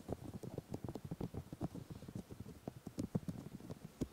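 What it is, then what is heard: Silicone microphone ears. Both hands cup the white silicone ears of a 3Dio microphone and rub them with the fingertips. The result is a quick, uneven run of close, muffled low thumps and soft rustling scrapes, with little high content and no ring after each touch.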